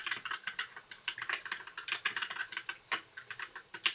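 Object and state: Plastic mechanical keyboard.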